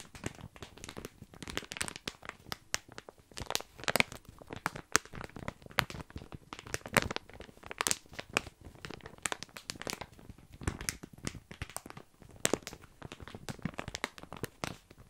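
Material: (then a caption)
Plastic. Fingertips and nails scratch and squeeze a full, sealed plastic bag of tiny dry pasta right next to the microphone. The result is a continuous stream of sharp, bright crinkling and crunchy rattles, with brief louder snaps scattered throughout and no ring after each one.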